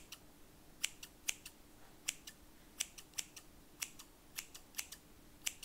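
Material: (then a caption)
Steel. Large stainless steel scissors with black plastic handles and solid metal blades are opened wide and closed by hand so the blades scrape together, while other scissors lie still on cloth. About 19 short, bright metallic snips and scrapes ring out in quick pairs and singles, each dying away almost at once over a faint low hum.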